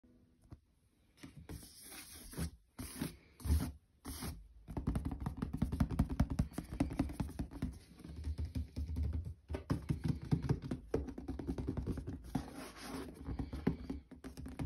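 Fingertips and nails tap and scratch the surface of a closed, hollow white cardboard shoe box lid with a printed FORCE logo, lying flat. After a quiet start, a few short bursts of scratching give way to continuous rapid tapping and rubbing. The sound is dull and hollow, mostly low in pitch, with a dry scratchy texture on top.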